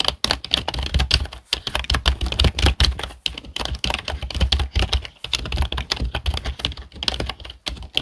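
Fingertips of both hands type steadily on a black plastic HP desktop keyboard. The result is a rapid, continuous stream of short, dry key clicks with bright tops and a soft low thud under each keystroke, dying away almost instantly.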